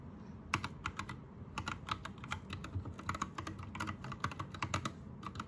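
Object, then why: Mechanical keyboard with plastic keycaps. Both hands type with their fingertips on an Anne Pro 2 60% mechanical keyboard with plastic keycaps, Gateron red switches and a rainbow backlight. A steady, uneven run of sharp, short plastic clacks lands over a low background rumble. Each keystroke is a bright tick centred around 1.1 kHz that dies away almost at once.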